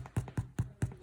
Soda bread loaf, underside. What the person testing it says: Tap the bottom for a nice hollow sound.